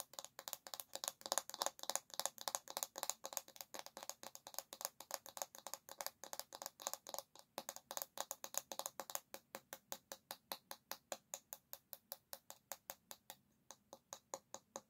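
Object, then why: Bamboo hairbrush back. Long nails tap quickly on the smooth, solid, flat bamboo back of a paddle hairbrush held by the handle. The taps are short, dry, bright clicks with almost no ring and little low end, coming in a dense, uneven flurry for about nine seconds before settling into a slightly sparser, steadier rhythm.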